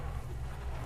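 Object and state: Nothing is struck.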